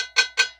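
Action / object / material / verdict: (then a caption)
tap / metal fuel filter canister / metal / empty. Two quick taps on a newly installed metal fuel filter canister on a Cat C7 engine give bright, cowbell-like metallic rings with a clear pitch around 1.5 kHz and a short decay. The hollow ring shows the filter is still empty and not yet primed with fuel.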